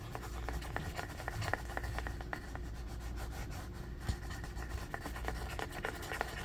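Several fingernails quickly scratch and tap the flat, solid wooden back of a striped bamboo paddle hairbrush with black bristles resting on carpet. The result is a steady, dry scratching texture dotted with short, sharp taps over a soft low rumble.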